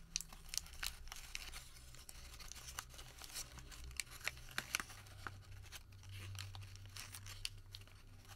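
A long white thermal paper receipt is folded, crumpled and twisted between the fingers, producing bright, crisp crinkling and sharp little crackles and snaps. These are spread irregularly over a steady low hum.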